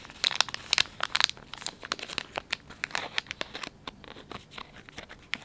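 Fingers pinch, fold and crinkle the soft plastic film of a filled, palm-sized Dettol wet wipes pouch. A rapid, uneven series of sharp, bright crinkles and crackles is heard, with almost no low end and very short ring, centered around 3.5 kHz.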